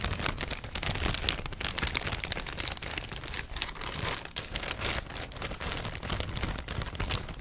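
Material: Plastic.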